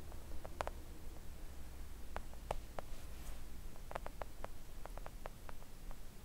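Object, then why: Silicone nail art mat. Long coffin-shaped press-on nails and fingertips of both hands tap a thin, solid, flat pink silicone nail art mat lying on a table. The taps are quiet, short and dry clicks that stop almost instantly, scattered irregularly over a steady low hum.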